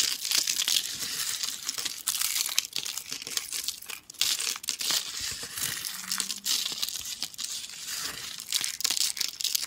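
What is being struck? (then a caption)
Soap shavings crumbled by hand. A pile of thin, dry, curled yellow soap shavings and solid chunks is crushed and crumbled between the fingertips and palms of both hands over a floral cloth. The result is a dense, continuous stream of bright, crisp crinkling and crunching, with almost no low end and only brief dips in the rustle.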